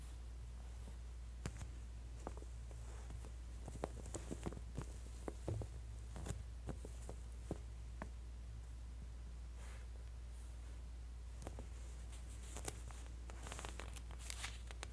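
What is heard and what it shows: A fingertip and long nails press and slide along the page edges of a thin, glossy paper J. Jill women's clothing catalog held open to one spread. Quiet, sharp crinkles and ticks are scattered through the clip over a steady low hum, each one dying away almost instantly.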